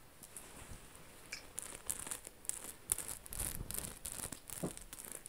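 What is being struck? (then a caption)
Cotton t-shirt with rhinestones. Long acrylic nails scratch and tap over the large rainbow rhinestone Medusa design and the fabric of a black cotton t-shirt held flat. Many quick, bright clicks and scratchy rasps follow one another in a continuous, soft flurry, with fine high-pitched ticks from the rhinestones over a faint rustle.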